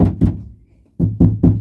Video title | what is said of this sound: Putting sound Deadner on my 1984 Buick Regal | right here it sounds solid, but on the top it still vibrates